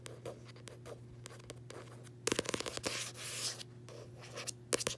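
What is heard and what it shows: Long nails and fingertips scratch and tap the front of a closed paperback copy of "Tuesdays with Morrie," its matte card cover solid underneath. Soft, dry scratching is broken by sharp, quick taps, with a burst of denser, louder scratching in the middle, all over a steady low hum.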